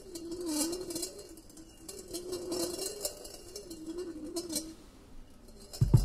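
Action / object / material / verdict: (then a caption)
shake / stainless steel colander with a steel ball / stainless steel / none. A solid steel ball rolls around the inner wall of a large, empty, perforated stainless steel colander with handles as the bowl is moved. It makes a continuous wavering metallic hum with bright clinks and light knocks on the thin hollow metal. A sharper, louder knock comes at the very end.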